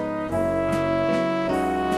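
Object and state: Nothing is struck.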